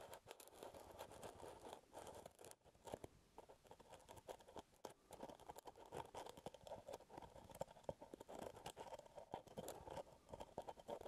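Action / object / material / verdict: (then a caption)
scrape / plastic jar lid / plastic / none. Fingertips and nails scratch the brown plastic lid of a full plastic peanut butter jar close to the mic. Dense, dry scratching and tapping clicks run continuously, with a midrange body around 500 Hz to 1 kHz and bright crackly edges. A brief pause comes near 2.6 seconds.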